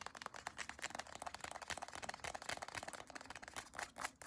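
Long acrylic nails tap and scratch along a small white CeraVe cream tube made of soft plastic, held in both hands. A quick, dense run of short, dry clicks and scratchy rustles, bright and crisp with almost no low end, each hit dying away instantly.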